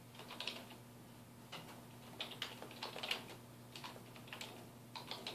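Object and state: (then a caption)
Plastic computer keyboard being typed on. Fingertips of both hands type on a black plastic computer keyboard resting on a wooden desk. Quick, bright key taps come in irregular bursts and short runs, each dying away almost at once, over a faint steady low hum.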